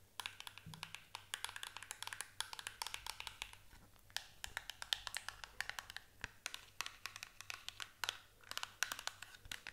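A small printed paperboard box has its sides tapped and scratched by long nails. Many quick, dry, bright taps and scrapes come in dense clusters, each dying away almost at once, over a faint low hum.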